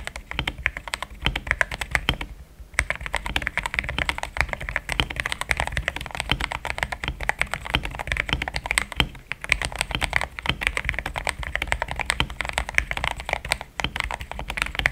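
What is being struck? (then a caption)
Plastic mechanical keyboard. Both hands type steadily on a compact pink-and-cream plastic mechanical keyboard with thick XDA-profile keycaps, Gateron Yellow switches and a polycarbonate plate, resting on a desk mat. The result is a dense, continuous stream of short, bright keystroke clicks with a soft low thock, broken by brief pauses near 2.5 and 13.8 seconds.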